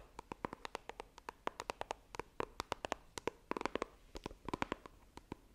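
A small, hollow white iPhone retail box of coated cardboard is held flat in both hands while long painted nails tap and scratch its lid. About 35 quick, dry clicks sound in an uneven, rapid run, each bright and short with almost no ring, over a faint soft scratching between them.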